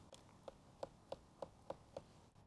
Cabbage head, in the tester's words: 저 두드리는 소리 들리시죠? 바로 양배추가 속이 완전히 찼다는 뜻입니다.